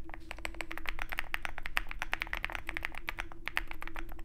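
A compact 65% Zoom65 mechanical keyboard with a dark case and white PBT keycaps is typed on continuously with the fingertips of both hands. The result is a fast, uneven stream of short, crisp clacks with a bright tone and no ring, over a steady low hum.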